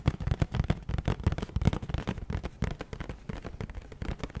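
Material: Cardboard.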